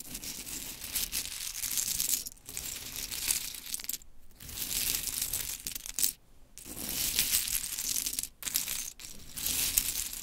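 Long chrome nails pick up, drop and rake through a pile of small pink mini wooden clothespins on a glittery cloth. The result is dense, bright, high-pitched clicking and rattling that comes in continuous bursts, separated by a few brief near-silent pauses.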